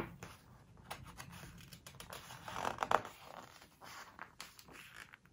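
Fingers lift, squeeze and turn a glossy page of a large open hardcover home decoration book while nails rub the paper. Quiet, dry scratching and soft crinkles build into a louder, sharp crackling swish about halfway through as the page flexes and turns, then settle back to light rubbing and ticks.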